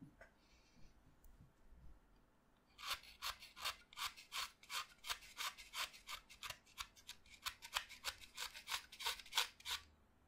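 A utility knife blade cuts into a solid white chalk stick resting on a pile of chalk dust, with other chalk fragments nearby. After a near-silent start, about 24 short, bright, dry scraping strokes follow at roughly three per second in a slightly uneven rhythm. Each stroke is crisp and quiet, with almost no low end and no ring.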